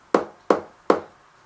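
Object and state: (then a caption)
Loose plaster, come away from the wall. Three hollow taps on gypsum plaster on a brick wall in an old Victorian house, where the wall was chased out and the plaster popped away while looking stuck. Each tap gives a short, hollow, mid-pitched knock that dies away quickly. The hollow sound shows the plaster has come loose from the wall and needs chipping back to adhered plaster and backfilling with bonding plaster.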